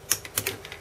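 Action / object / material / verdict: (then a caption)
flick / desoldered metal IC pin / metal / free. The metal pins of a desoldered SRAM chip on a Famicom board are lightly flicked at their ends, giving six short, bright, high-pitched clicks. Each pin springs back with a little click, showing the solder is cleared and the pin is free.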